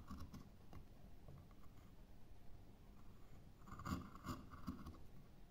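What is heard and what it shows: A small metal carving knife cuts and scratches fine detail into a pale, solid wooden carving blank with a rounded end, using short strokes. Quiet, low scraping runs throughout, with a few sharper, brighter scratches toward the end.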